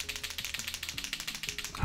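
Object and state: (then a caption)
Paint marker shaken, mixing ball rattling. A large blue water-based paint marker with a plastic barrel is shaken, slightly away from the microphone, to mix the paint before priming it. The mixing ball inside gives a rapid, steady series of short clicking rattles over a low background hum.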